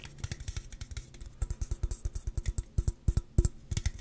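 A slim Celsius aluminum drink can, hollow and possibly full, is held in the hands and tapped and scratched along its side with fingertips and nails. The result is a quick, uneven string of dull, low thumps with bright, scratchy clicks. Each hit dies away almost instantly with no ringing.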